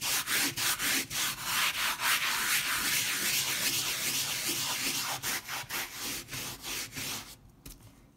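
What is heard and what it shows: A white plastic bristle brush scrubs back and forth across a powdered, mostly dry leopard-print pile rug. It makes a quick, steady run of bright, hissy scratching strokes. The strokes thin out and fade to quiet at the end.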